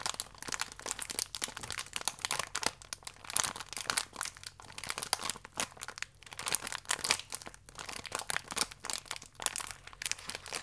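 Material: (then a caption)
Plastic film. A full, thin plastic wrapper around one cereal biscuit is rubbed with fingertips, then cupped and squeezed in both hands. The result is a dense, continuous bright crinkling and crackling, with sharp, dry snaps that die away instantly and almost no low end.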